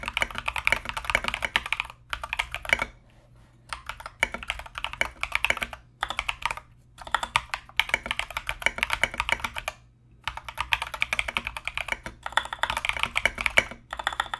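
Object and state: Mechanical keyboard with plastic SA keycaps.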